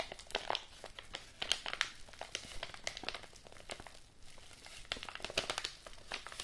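A large, apparently empty, yellow kraft-paper padded mailing envelope is held in both hands while fingers and nails crinkle and scratch its paper surface. A steady stream of bright, dry crinkling and crackling comes through, with sharp papery snaps rising above it. There is little low end and no ringing after each sound.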